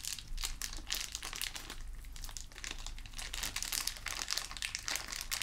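A small clear plastic zip bag labelled A/B, full of metal screws and bolts, is held in the fingertips and crinkled and shaken in front of a black metal desk frame. Dense, bright crinkling of the plastic mixes with quick clicks and rattles of the screws shifting inside, over a steady low hum. The sound stays busy and fairly even throughout, with brief sharp peaks.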